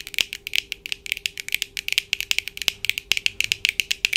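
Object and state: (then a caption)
Plastic-framed eyeglasses tapped with nails. Long acrylic nails on both hands tap the lenses and frame of a small pair of black plastic-framed eyeglasses with hard, hollow-framed lenses, worn on the face. About 32 quick, dry, bright clicks come in an uneven, rapid rhythm, centered near 2.6 kHz with almost no low end and no ring. A faint steady tone sits underneath near 400 Hz.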